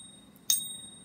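An American Silver Eagle coin of .999 fine silver, 40 mm in diameter, is pinged once, giving a sharp, high-pitched ring with thin tones lingering afterward. Its large diameter gives it the very nice rich ring of pure silver.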